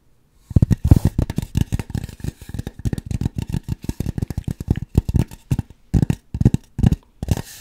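Long acrylic nails scratch and rub a large white polystyrene foam sphere covering a microphone, with a face held close to it. The result is a rapid series of dry, scraping scratches with a heavy, muffled low-end thump. The scratching comes in stop-and-go bursts separated by brief silences.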